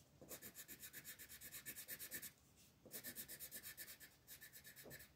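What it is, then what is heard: Colored pencil shading on paper. An orange wooden colored pencil is rubbed back and forth across a flat printed paper coloring book page lying on a table, shading it in quick continuous strokes. The strokes give a bright, raspy scratching with a tone near 1.8 kHz, arriving in three rhythmic runs separated by short pauses.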